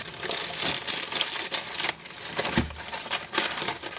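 Fingertips pull, crinkle and peel the thin clear plastic sleeve wrapped around a magazine. A steady run of bright, crisp crackling fills the clip, with brief dips where the film is loosened and a soft low thump near the middle.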